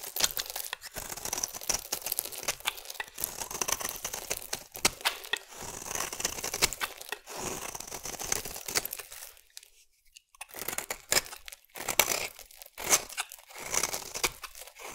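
A metal blade scrapes fine, crumbly shavings from the edge of a solid oval green bar of soap. The sound is a dense, bright, dry crackling and scratching, with almost no low end, coming in short bursts separated by brief pauses.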